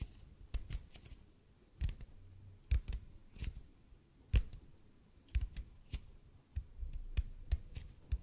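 A large, hollow, red-and-white speckled expanded polypropylene (EPP) foam roller is held above the mic and tapped and scratched with the fingertips and short nails of both hands. Slow, irregular taps land as dull, low thumps with quick, bright clicky edges that die away almost instantly, with soft scratching in the quiet gaps between them.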